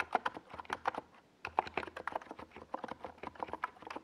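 Fingertips of both hands type rapidly on a compact 68-key NiZ Plum Atom 68 mechanical keyboard with a hollow white plastic case and purple and yellow Domikey Gas Attack SA plastic keycaps, resting on a desk pad. The key taps are short, dry, mid-pitched clacks that fade almost instantly, with a brief pause just after the first second before the typing resumes.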